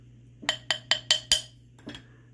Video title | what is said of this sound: Help me pick some handle material | piece of wood almost sounds like plastic